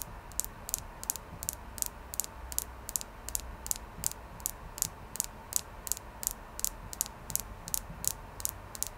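Fingernails tap on a clear quartz crystal, producing 28 short, bright ticking clicks at a slightly uneven pace of about one and a half per second. Each click is sharp and dies away almost instantly, over a faint, steady low rumble.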